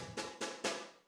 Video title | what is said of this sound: September 24, 2023 Sunday Service - JESUS IS GREATER THAN | pinapalo na to na malakas, kaya po tumutunog yan ng ganto ang tunog kasi sapat yung stress